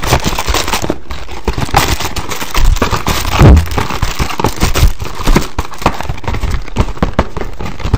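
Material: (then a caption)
Cardboard. A hollow green and black printed cardboard box labelled "mask" is held in the hand and quickly tapped and scratched with fingertips and nails. The result is a dense, continuous stream of dull, low-heavy thumps mixed with crinkly scratching, with a few louder knocks standing out around the middle.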